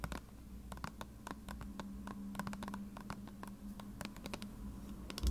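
Long red-painted nails scratch and tap along the paper label of a medium, hollow plastic bottle of contact lens solution that appears partly filled. Quick, dry clicks and scratchy rustles come in an irregular patter, each dying away almost instantly over a faint steady low hum.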